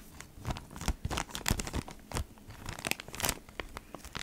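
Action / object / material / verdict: scrape / cardboard package in a plastic sleeve / plastic / none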